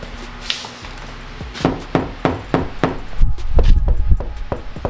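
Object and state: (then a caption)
Damped steel car door panel after sound deadening. A steel BMW E30 car door panel, covered with three staggered layers of Killmat butyl sound-deadening mat, is knock-tested with a series of dull, low thuds that die away almost instantly with no ring. The deadened door sounds massively different from the bare door.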